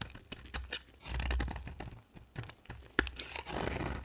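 A utility knife blade carves and scrapes a solid white rectangular bar of dry soap into shavings. A rapid series of crisp, dry crunches and scraping cuts crackles with bright detail over a low rumble, and one sharp snap near the end stands out. Each cut stops almost instantly.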